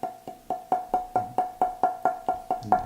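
A joined and roughed-out spruce violin top plate is held and tapped 13 times in a steady rhythm. Each tap gives a short, clear wooden ring with a steady pitch near 730 Hz. The good ring marks it as a top whose tone will suit the back and sides.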